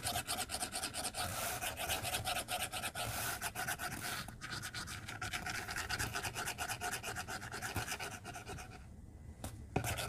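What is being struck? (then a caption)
Plastic stylus on a glass tablet screen. A white plastic stylus tip scratches and rubs across a glass tablet screen while coloring large areas, making a steady run of quick, bright, raspy strokes. Near the end the scratching briefly thins out and quiets, then a single sharp tap sounds.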